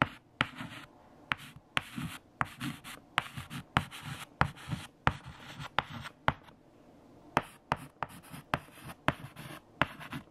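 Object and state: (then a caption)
Chalk writing on a chalkboard. A white chalk stick held in the fingertips writes the 7-times table across a large, flat black chalkboard. It makes scraping strokes punctuated by about 19 sharp taps as the chalk strikes the board, with brief quiet gaps between bursts.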